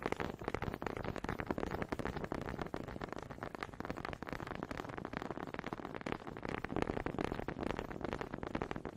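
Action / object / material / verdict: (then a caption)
tap / two wooden honey dippers / wood / none. Two small solid wooden honey dippers with grooved heads, held in both hands with long red nails, are knocked and rubbed together close to the mic. A rapid, uneven stream of quiet, dry wooden taps and clicks blends with a soft scraping rub, each tap dying away at once with no ring.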